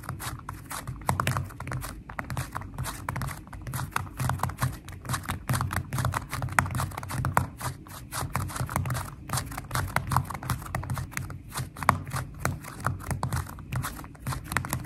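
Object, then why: Slime with foam beads. Fingertips and nails tap quickly on a flat purple glitter slime with foam beads, making a steady stream of short, crackly clicks and soft pops. Each tap has a dull, low body with a bright, snappy edge that dies away almost instantly. The dense, fast rhythm holds for the whole clip at an even, quiet level.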